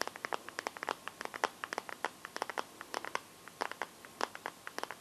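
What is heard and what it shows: Fingertips and painted nails tap and scratch the back of a hand-sized Samsung smartphone in a transparent teal plastic case. The result is a quick, irregular run of dozens of short, dry plastic clicks, bright and crisp, with no low end and no ring after each tap.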